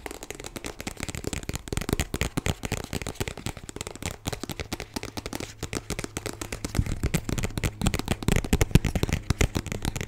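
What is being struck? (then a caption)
Small plastic squeeze tube. Long light-blue nails tap and scratch the surface of a small white plastic squeeze tube with a black cap, hollow and filled with product, held close to the mic. Rapid, dense, crackly taps with a thick low body fill the clip, growing somewhat louder and heavier in the second half over a faint steady low hum.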